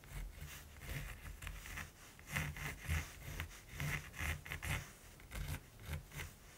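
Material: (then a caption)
Linen canvas. A hand-held mechanical pencil makes short strokes on a flat, gesso-primed linen canvas, scratching graphite onto the woven surface while shading a raven's head. The strokes come as a run of soft, dry scratches and rubs with a low hum beneath them and brighter bursts around 2 kHz.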